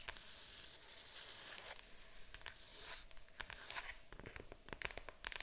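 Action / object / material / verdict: tap / cardboard board game box / cardboard / none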